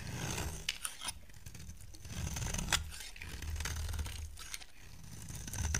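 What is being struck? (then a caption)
Bar of soap scraped with a knife blade. A solid oval green soap bar, held in the hand, is scraped and carved with a utility knife blade. Dry, crisp scraping and shaving sounds come in uneven strokes, with a few sharp bright clicks as the blade catches, over a steady low rumble.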